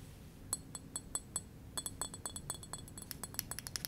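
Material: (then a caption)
Glass. Fingernails and fingertips tap on the glass near the shoulder of a small, hollow green glass wine bottle with a label and a metal screw cap. Sharp, bright clinks with fixed high ringing tones sound in a slow, even series at first, then speed into a denser run of quick taps. Each tap dies away almost at once over a faint low background rumble.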